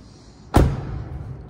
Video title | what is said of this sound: Reviews! EP 2 - 2015 Jeep Cherokee Limited | nice solid sound no squeaks or rattles